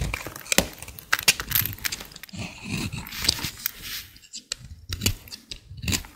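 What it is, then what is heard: Dry bar soap. A small utility blade scrapes a dry, solid green bar of soap held in the hand, peeling off shavings. The sound is a series of short, crisp, crackling scrapes with bright, dry texture and almost no ring, interspersed with softer rustling strokes.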